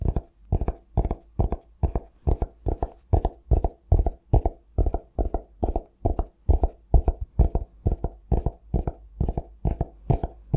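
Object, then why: Cork-covered notebook. A cork-covered notebook, turned on its side, has its spine, edge and cover tapped with fingertips and nails. The result is a quick, fairly even run of short, dull, low thuds with soft, slightly clicky tops and almost no ring between taps.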